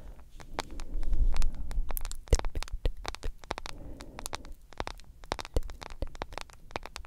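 Long nails tap and scratch on a solid smartphone in a yellow plastic case with a glass screen. Quick, irregular, crisp clicks come in a steady stream over a soft, low rumbling scratch that swells early and then fades into lighter tapping.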